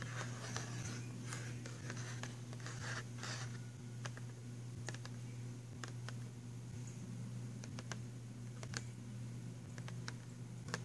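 Fingernails tap and scratch the cover of a filled, printed cardboard box of pastel pencils. Quiet, dry clicks and brief scratchy rustles come in irregular bursts over a steady low hum. Each tap dies away almost instantly.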